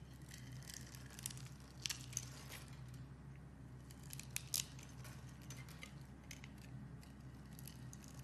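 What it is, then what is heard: Bar soap being shaved. A utility knife blade shaves the pre-scored surface of a solid, opaque, hand-sized yellow bar of soap into crumbly cubes. Quiet, dry scraping and cutting crackle brightly in short, sharp bursts with no ring, over a steady low hum. The sharpest snaps come near the start and around the middle.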